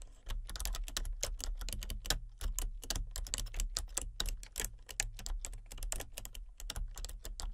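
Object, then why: Plastic computer keyboard. Fingertips with long nails tap steadily across the keys of a full-size plastic computer keyboard with a hollow body and color-changing backlit keys. The result is a continuous run of quick, bright, clicky taps that die away almost at once, over a steady low hum.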